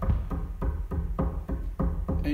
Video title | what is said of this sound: The Lockdown Diaries - Day 24 | you can hear a slight amount coming through the speakers